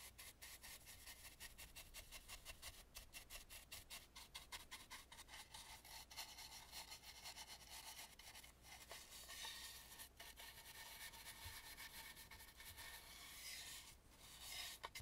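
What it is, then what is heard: Wooden mask brushed with a bristle brush. A big dry bristle brush rubs across the inside of a hollow carved wooden mask with dark paint. The result is a steady, quiet, bright scratchy rasp made of rapid brush strokes, with a faint low hum underneath.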